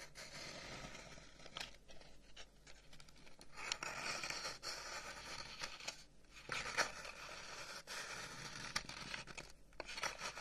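Fingernails scratch along the end and side of a long, hollow, carved wooden incense box held up close, making a dry, bright, rasping scrape. The strokes run almost continuously with brief pauses, and a few sharper clicks stand out above the quiet texture.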